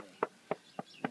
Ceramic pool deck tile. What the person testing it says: If you go in and do a tap test here, oh, yeah, it sounds hollow. This has all got to be replaced, mudded in